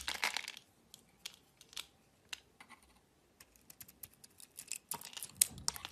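A solid orange-and-white striped bar of soap, held in the hand, is shaved with a metal utility knife blade. Quiet, crisp scraping and crackling strokes come in short, dry bursts with bright, high-pitched texture and almost no low end. A denser cluster of shaving sounds builds toward the end.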